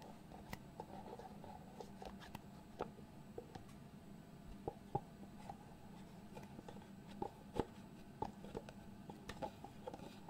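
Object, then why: Small cardboard box with fitted lid. A small white cardboard product box with a fitted lid is held in both hands while fingertips slide and tap the lid against the box base. Quiet, steady scraping and rustling runs throughout, broken by short, dry, hollow taps that die away almost instantly.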